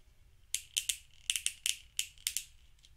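A thumb presses and flicks the clicky buttons and switch on a small grey hollow plastic fidget cube held in one hand. Nine sharp, bright, rattling clicks sound in irregular succession, each dying away almost instantly over a quiet background.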